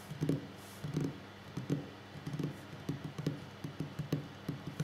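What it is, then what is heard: Wooden table. Fingers tap on a wooden table in an ASMR-style session, making eleven soft, dull knocks in an irregular rhythm. Each tap is a low, woody thud that dies away almost at once against a quiet background.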